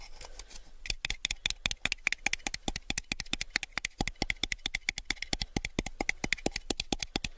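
A small, hollow, empty clear plastic cup, held at an angle, is tapped with fingertips and nails on its rim and side. After a second of faint rustling, a rapid, steady run of about fifty-six crisp, bright clicky taps follows, each dry and short with almost no ring, centered around a light plasticky tone near 2.4 kHz.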